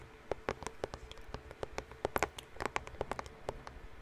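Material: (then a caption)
Cardboard. Fingertips and nails tap and scratch across a white Band-Aid bandage box, likely cardboard and hollow, held up close to the mic. An irregular run of quick, dry taps with a hollow knock near 420 Hz rises over faint scratching and brief bright clicks, each tap dying away almost at once.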